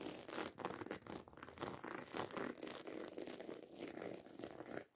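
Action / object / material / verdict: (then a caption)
scrape / fabric handbag with small metal studs / metal studs / none. Long acrylic nails scratch and tap quickly over the rows of small silver metal studs on a medium-sized, hollow black fabric handbag. The result is a dense, continuous rasping clatter of fast scrapes and light ticks, centered in the midrange with a bright edge and almost no low end.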